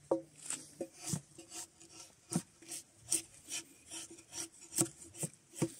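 Gloved hands pull a draw knife along a solid spruce softwood log resting on a pile, scraping the remaining bark off the mostly debarked wood. Repeated short rasping strokes follow one another, each a bright, hissy scrape over a dry woody tone around 330 Hz, with quiet gaps between them.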